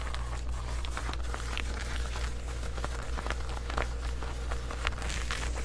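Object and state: Denim shorts being scratched.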